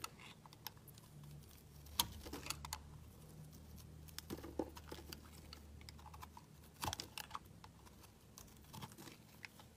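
A metal blade carves and scrapes the edges and sides of a solid white bar of soap with green streaks, held in the hand, shaving off dry flakes. Soft, irregular scraping ticks and brief crisp clicks with bright edges sound over a faint low hum.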